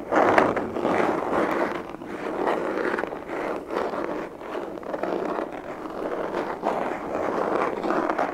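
A closed, hollow, black semi-rigid molded pistol carry case is held upright in the hands and tapped and scratched with fingertips and nails. This gives a steady, dense rasp of scratching in the midrange, with soft tap accents throughout and little deep bass or high treble.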